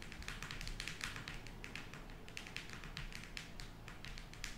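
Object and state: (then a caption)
Cardboard eyeshadow palette. Long nails tap rapidly on the printed cover of a closed square cardboard eyeshadow palette as it is held up and then laid on the table. Each tap is a short, dry click with a bright crisp edge over a soft low thump, fading quickly in a steady stream of taps.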